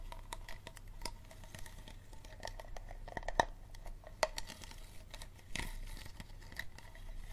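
Fingernails tap and scratch on a small, empty, hollow clear plastic Dasani water bottle, working over the label area and the ridged plastic base. Quiet, irregular light clicks and scratchy rasps sound over a low background hum, with a few sharper, brighter taps standing out.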